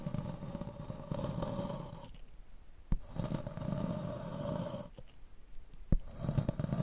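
A wooden block held in gloved hands scrapes a solid square block of magnesium carbonate gym chalk, leaving grooves and powder. The sound is a low, rough, rumbling rasp in three scraping passes, with short quiet gaps and sharp clicks between them.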